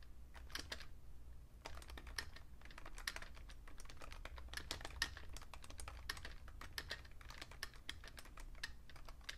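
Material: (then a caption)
Plastic. Fingertips type fast on a vintage beige plastic Fujitsu Siemens computer keyboard, with a magazine lying still beside it. Dense, quick clicks with bright, short-lived key snaps sound over a steady low hum.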